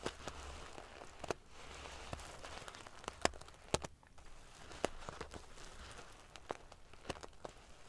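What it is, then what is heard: Metal sequin pillow. A large decorative pillow covered in rows of small silver metal sequins sewn onto fabric is scratched and ruffled with long painted fingernails. Bright, prickly clicks and crackles ring out over a soft, steady rustling hiss, with sharp metallic ticks popping up irregularly throughout.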